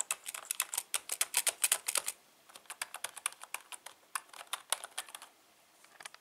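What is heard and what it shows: Fingertips type rapidly on the right-side keys and letter keys of a full-size black plastic membrane keyboard with a hollow housing. The result is a quick, uneven run of bright, dry clicks with a short pause around the two-second mark before the typing resumes and thins out toward the end.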